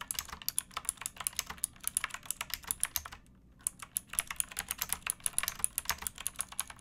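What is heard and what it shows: Fingertips and nails type on a pink backlit mechanical keyboard with plastic keycaps. Rapid, bright clicks and clacks with almost no ring follow one another, with a brief quiet pause near the middle before the typing resumes.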